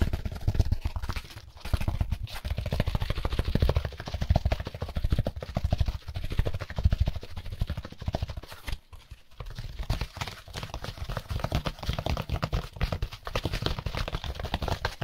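A white, solid styrofoam packaging insert with a central hole is tapped and rubbed quickly with gloved fingertips. The result is a dense, continuous stream of soft, dull low thumps and scratchy rubbing that stays mostly in the low range, with brief quieter dips.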